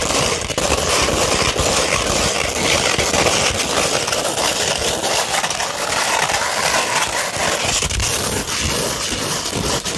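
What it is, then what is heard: Sandpaper sheet. Long red nails scratch across a flat sheet of 240-grit sandpaper, producing a continuous, dense, gritty rasp. The scratching is bright and hissy with little low end, holding a steady level throughout the clip with no clear separate strokes.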